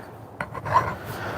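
A file is scraped across a piece of non-hardened steel and bites into it, producing four short, dull rasping scrapes centered around 1 kHz with almost no high-frequency ring. The dull sound, rather than the sound of hardened steel, shows the steel is not hardened.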